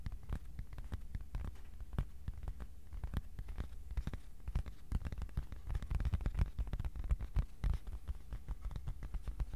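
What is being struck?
Thin cardboard sheet.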